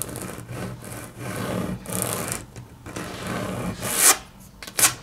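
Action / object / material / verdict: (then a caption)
scrape / wood-grain laminate tabletop / laminate / none. Long natural nails tap rapidly and scratch lightly on a solid, flat grey wood-grain laminate tabletop. A steady, uneven rubbing and rasping texture with bright hiss carries through most of the clip, broken by short dips. Near the end come two sharper, louder bright clicks.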